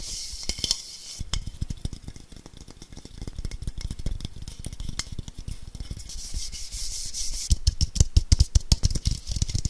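Long painted nails scratch and tap the dome of a hand-sized, hollow white frosted LED light bulb with a metal screw base, held in both hands, while the palm rubs over it; the dome may be glass or plastic. A soft, steady scratching hiss runs throughout, broken by rapid, short, dull taps that grow louder and closer together toward the end.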